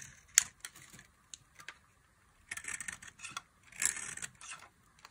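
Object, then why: Bar of soap cut with a thin blade. A box-cutter blade cuts thin fringe strips into a solid orange bar of dry soap. Sharp, dry clicks give way to longer, crisp crackling scrapes, all bright and high with almost no low end, separated by brief silences.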